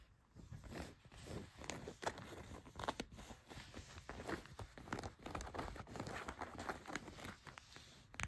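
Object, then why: Denim jeans. Long white nails scratch a pair of blue denim jeans laid flat, working across the leg and along the pocket seam. The result is a steady run of dry, rough, rasping strokes with brief bright crackles as the nails catch on the seams.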